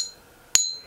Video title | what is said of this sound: Is My Jade Bangle REAL? Testing "Jade" Bangles from Amazon | the ping test would have been a pretty good indicator that it's not jade